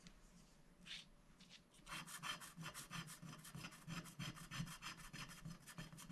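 A wooden stick scratches the black coating off a thin, flat scratch-art sticker sheet of black-coated paper, which lies on a glass board while a hand holds it down. After a quiet start and one brief bright scrape, a steady run of quick, dry rasping strokes follows at about three per second. The strokes are bright and scratchy over a faint low hum.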